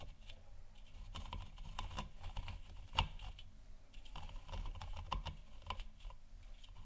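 Long nails tap the sides of a large, hollow, 3D-printed plastic moon lamp sphere lit white. The result is a steady run of quick, dry clicks with almost no ring, one louder tap near the three-second mark, and a low hum underneath.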